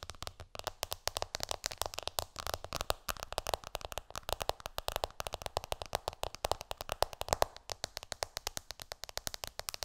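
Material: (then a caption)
Glass. Long painted nails tap fast on the glass screen of an iPhone lying flat on a cushion, using both hands. A dense, steady stream of quick, dry, bright clicks is heard, each dying away almost instantly and carrying a light midrange tick.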